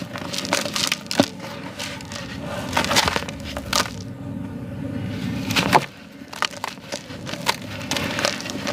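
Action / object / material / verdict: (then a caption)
scrape / molded sand block / sand / none. Palm-sized, solid molded clumps of yellow gritty sand are broken apart and crushed between bare hands over a blue tub. Dense, dry crunching and crackling fills the clip, with sharp, bright snaps as clumps break and a soft gritty hiss as the sand crumbles and pours onto a sand pile.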